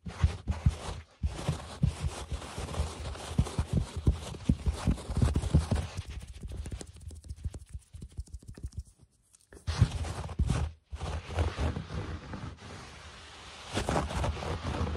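Fingertips scratch the pile of a low-pile beige carpet on the floor, then the knuckles of a closed hand tap and rub on it. The result is a run of soft, muffled, low thuds and scuffs with brief gaps, mostly low-frequency with almost no high end.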